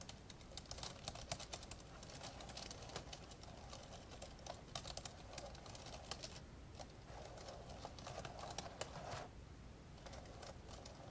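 Fingertips of both hands type steadily on the plastic keys of an open, old dark grey plastic laptop. The result is a quiet, continuous stream of short, dry, bright taps with almost no ring, over a low steady background hum. The typing briefly thins out a couple of times.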